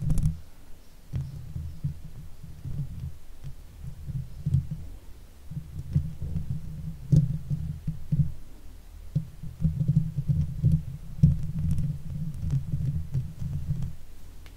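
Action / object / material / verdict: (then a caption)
scrape / metal mesh microphone grille / metal mesh / none. Long nails of both hands scratch and tap the sides of the hollow metal mesh grille on a Blue Yeti microphone. The result is a deep, muffled rumbling and thumping, nearly all low-pitched, broken by faint, sharp ticks as the nails strike the mesh.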